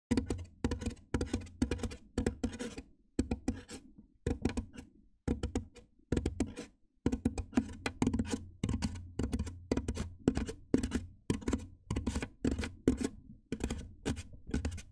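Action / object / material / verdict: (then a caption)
tap / large styrofoam box / styrofoam / none. Fingertips with painted nails tap and drum on the top edge of a large, white, hollow styrofoam box set over the microphone. The result is a steady run of quick, dry, hollow thumps with a deep, boomy low end and faint bright nail clicks, each dying away almost at once. The taps come in rhythmic bursts separated by short pauses.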